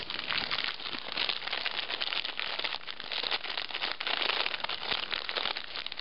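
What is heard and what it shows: A small metallized plastic foil snack bag of Bugles, full of corn snacks, is held in both hands, crinkled and squeezed while long nails scratch its surface. The result is six seconds of dense, continuous bright crinkling and crackling with fast sharp ticks and little low end.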